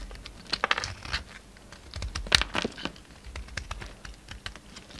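A palm-sized oval bar of solid pink soap with a red coating, held in the hand, has flakes scraped and chipped off it with a pink utility knife blade. Dry, crisp scratching and clicking ticks sound in quick, uneven bursts. Bright, short snaps stand out near the start and middle over a soft crumbly hiss.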